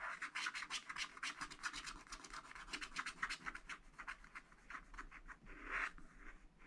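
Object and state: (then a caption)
Scratch-art paper scratched with a wooden stylus. A wooden stylus scratches the purple flower area of a wax-coated scratch-art paper pad lying flat. A quick run of short, dry, bright scratching strokes plays with almost no low end, and a longer, louder scrape comes near the end before the strokes fade.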